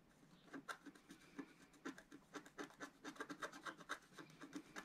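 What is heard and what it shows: A wooden stylus scratches a small planet into a flat, black-coated scratch-art card held flat by one hand, using repeated strokes. Quiet, dry, raspy scratches come in a quick, uneven series of short strokes, about two per second, with a bright papery hiss and no ring after each stroke.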